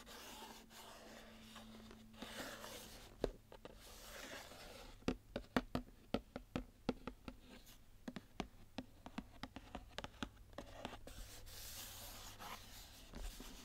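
Long nails scratch and rub along the top edge of a closed, full 500 g Pedigree Markies cardboard box. Soft, dry rubbing over a faint low hum gives way to a run of sharp, quick clicks and scrapes that die away almost instantly, then settles back into quiet scratching.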